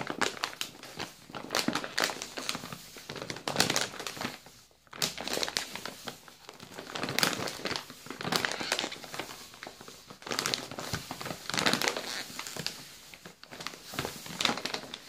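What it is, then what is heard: Plastic cookie bag, full. Both hands squeeze and crinkle a full, medium yellow plastic bag of Balocco Ciambelle biscuits. The result is dense, bright crackling in uneven bursts with almost no low end, and a brief lull near the five-second mark.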